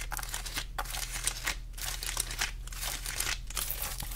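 Long glittery acrylic nails scratch the rough, scaly rind of a whole fresh pineapple, up close. Bright, crinkly scraping comes in rapid bursts separated by short pauses, over a steady low hum.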